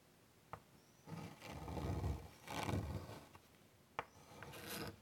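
White chalk draws long rasping lines across a large wood-framed chalkboard. Three extended scraping strokes are heard, with a low, gritty rumble and brighter grainy hiss, and two sharp taps as the chalk meets the board.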